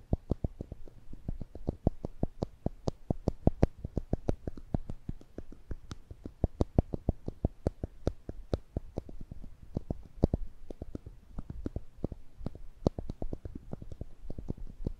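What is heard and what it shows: A small yellow plastic clicker toy with a metal spring and black rubber ends is held above the microphones and squeezed with the fingers, clicking repeatedly. Each click is a short, dry snap with a low, thumpy body and a faint bright tick on top, dying away almost at once. The clicks come in a quick, steady stream of roughly five per second throughout.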